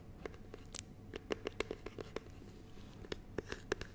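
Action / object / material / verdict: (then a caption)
tap / small rigid plastic box of honeycomb / plastic / none. A small, clear, rigid plastic box filled with honeycomb is moved beside the mic while fingertips tap and scratch its lid and sides. The taps come as quick, dry clicks with a hollow plastic tone around 400 Hz, some reaching up into brighter ticks, scattered irregularly between soft scratching over a quiet background.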